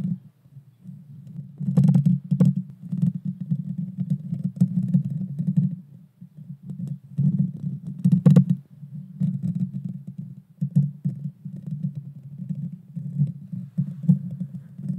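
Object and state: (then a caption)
Metal mesh microphone grille. Long painted fingernails scratch and tap the bare metal mesh grille on the hollow head of a small pink Blue Yeti Nano microphone. Close to the mic, the scratching comes through as a dense, low, boomy rumble in bursts of varying loudness. A few sharper taps add brief bright clicks.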